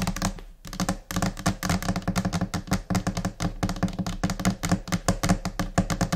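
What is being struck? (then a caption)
Laminated particleboard desk top. Long painted nails of both hands tap rapidly and unevenly across the large, flat white top of a laminate desk, possibly laminated particleboard. The result is a dense, scattered stream of crisp clicks over a low, hollow knock, each tap dying away almost at once.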